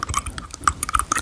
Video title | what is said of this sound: Asmr - soft spoken ramble ( Braces Journey so far!) | I have my tongue pierced and it does um knock on it.